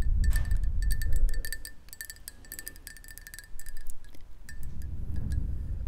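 A black, hollow ceramic mug is held close and tapped rapidly with long nails, giving chime-like ringing clinks with a steady tone around 2 kHz and bright overtones. A low rumble sits underneath, swelling at the start and again near the end.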